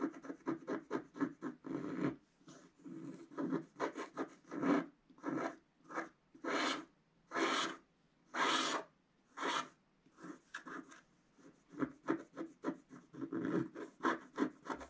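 A wooden stylus scratches thin lines into the black coating near the top center of a wax-coated scratch-art paper page held flat by one hand. Quick, short rasping strokes give way to longer, slower scrapes in the middle, then turn rapid and choppy again. The sound is dry and papery with a bright hiss.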